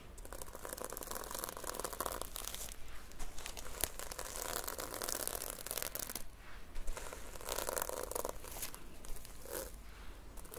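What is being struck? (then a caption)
Notebook with plastic sequin cover. Long dark-painted nails brush and scratch across the red and silver reversible sequin cover of a hand-sized notebook, flipping the sequins. A steady, dense stream of soft crinkling, tearing-like scratches and light clicks with brighter bursts runs the whole time, over a low background rumble.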